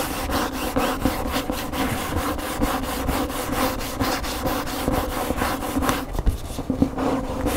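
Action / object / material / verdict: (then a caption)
scrape / paper hardcover book / paperboard / none. Fingernails scratch the glossy back cover of a large hardcover cookbook standing upright, then move to the front cover along the spine edge. The result is a steady, dry rasping scrape with quick repeated strokes and a faint low hum under the scratching. Near the end the sound thins out and is broken by a few sharper taps.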